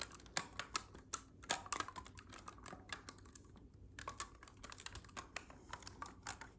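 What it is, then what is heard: Clarinet keys being clicked. Fingertips rapidly press and click the silver keys and ring keys of a hollow black clarinet with metal keys. Quiet, sharp, irregular clicks and taps with a bright edge come in quick uneven bursts. Each click dies away almost at once over a faint steady hiss.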